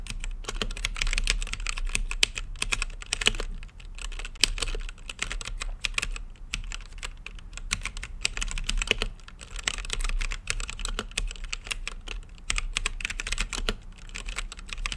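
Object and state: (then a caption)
Plastic mechanical keyboard with acrylic case. Fingertips type continuously on a mechanical keyboard with plastic keycaps set in a translucent acrylic case. The result is a fast, steady stream of dry, bright plastic clacks over a low, soft thump, with each keystroke cutting off almost instantly and only brief dips in the rhythm.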